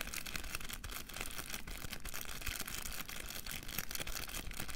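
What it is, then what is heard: Plastic cotton bud box. Fingertips and nails tap and scratch the lid and sides of a small clear plastic box, held in both hands and packed with pink cotton buds, with a green label. A fast, steady run of light clicky taps and scratchy rustling continues throughout, with a bright hiss over a low rumble.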